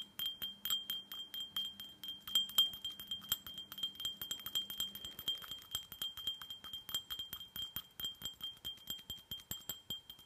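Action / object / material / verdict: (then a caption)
tap / small glass tumbler / glass / none. A small, empty glass tumbler covered in red glitter, held in one hand, is tapped quickly with long fingernails for about fifty light taps. Each tap gives a bright, ringing glass tone near 3.2 kHz that fades within a tenth of a second. A faint low hum sits underneath for the first half.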